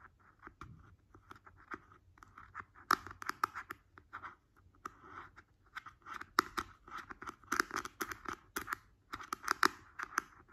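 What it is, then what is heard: Plastic jar lid. Fingertips and nails tap and scratch on the top of the glossy green plastic screw lid of a large, round, hollow skincare cream jar resting on a bed sheet. The result is a rapid, uneven series of dry, hollow clicks centered around 1.3 kHz, with bright scratchy edges and almost no ring or low end.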